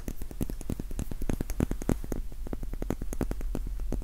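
A small, solid pink wax pillar candle is held in both hands close to the microphone while fingertips and short nails tap and scratch its sides. Dense, rapid, dry taps and scratches run continuously with a low thump under each one and a faint bright tick, all with almost no ring.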